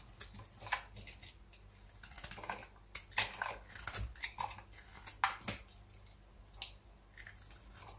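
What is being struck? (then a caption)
Bar soap scraped with a small metal blade. A small metal blade scrapes and carves curls and flakes off the face of a solid, dry, pale beige Fair & Lovely bar soap, palm-sized and held in one hand. Repeated short, crisp, bright scraping and crunching strokes come in irregular bursts over a low steady hum, each dying away almost at once.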